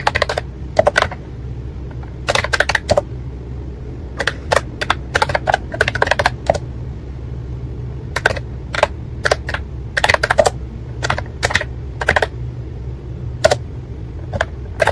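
Fingertips of both hands type continuously on a white and pink ACTTO plastic wireless keyboard with round keycaps. Quick, dry plastic clicks come in bursts and clusters with short pauses between them, over a steady low hum.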